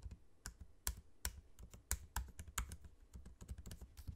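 Fingertips type on a MacBook-style laptop keyboard, with low-profile plastic keycaps set in a space-grey aluminium body and the trackpad nearby. About a dozen short, dry key taps land at an uneven pace. Each has a bright click over a soft low thump, and the taps die away almost at once.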